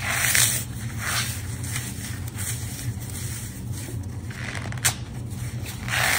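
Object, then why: Phenolic floral foam block. A small, porous block of dry phenolic floral foam, white-cream with a green outer face, is crushed and squeezed between bare fingertips with long dark nails over a wooden board covered in crumbled green foam. Bright, crunchy crumbling crackles come in bursts, with one sharp snap near the end, over a steady low hum.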